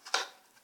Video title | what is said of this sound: The Best Torn and Restored Card Trick Ever - Revealed Tutorial | When you shake the box, you could hear that there's cards in there,